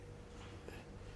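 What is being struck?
Nothing is struck.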